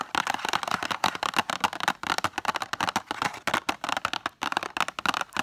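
Long acrylic nails rapidly tap and scratch on the surface of a small, rectangular cardboard box full of BIC pens with a plastic window. The result is a dense run of crisp, dry clicks and scrapes, centered in the midrange with bright edges and almost no bass. Each tap dies away almost at once.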